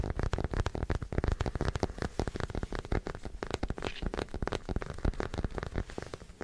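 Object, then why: Small plastic figure. A small white plastic acupuncture doll is held close to a microphone and tapped and scratched with fingertips and short nails. The result is a rapid, continuous run of short, dull taps with quick decay, mostly in the low range with very little high-frequency content.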